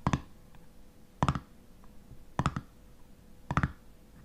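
A fingernail taps and scratches on the black metal screw lid of a full glass honey jar, making four evenly spaced bursts of quick, dull double clicks. Each burst is short and low-pitched with almost no ring, and faint scratching fills the quiet gaps between them.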